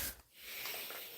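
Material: Nothing is struck.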